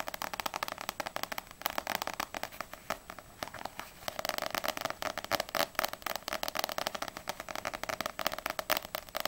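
A small paperback manga, No.6 volume 1, with a glossy paper cover, solid, is held in both hands and tapped fast with long nails on the front cover, then tilted at the end. The taps are a rapid run of dry, bright clicks with almost no low end and no ring, easing off briefly around the middle before picking up again.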